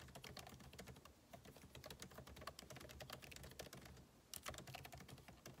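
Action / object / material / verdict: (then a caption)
tap / laptop keyboard with plastic keys in a metal body / plastic / none. Two hands type with their fingertips on the backlit keyboard of a MacBook Pro laptop, whose plastic keycaps sit in a hollow aluminum case. The result is a steady, quiet stream of short, dry key taps with bright clicks. A low hum runs underneath, and a brief louder burst of taps comes near the end.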